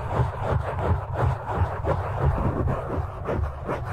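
Fingertips of both hands grip and scratch a black foam windscreen on a microphone. The result is a close, muffled rumbling scrape that sits mostly in the low end, swelling and fading in an uneven pulse of about three strokes per second with no sharp or bright edges.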